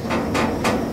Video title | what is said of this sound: STOBE THE HOBO 20 LIVINGSTON 2 GILLETE#1 TRAINHOPPING | you notice that it's empty I knock it on the outside